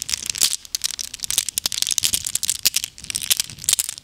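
A handful of small solid glass gems is held in cupped hands with long nails and shaken and rolled against each other. The gems give rapid, bright, high clinks and crisp ticks with almost no low end. Each clink dies away almost at once, in an irregular, steady patter.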